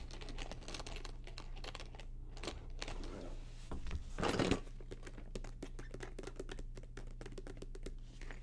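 Long acrylic nails tap rapidly across the surface of a medium, hollow, polka-dot faux leather vanity case held up in both hands. The result is a dense stream of short, dry clicks over a steady low hum, with a louder scraping burst in the middle before the quick tapping resumes.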